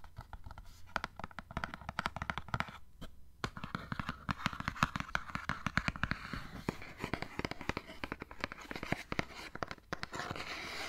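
A small, hollow printed cardboard gift box is scratched and tapped with fingernails, giving dense, quick, dry clicks and rasping scratches with no lingering ring. A faint low hum sits underneath throughout.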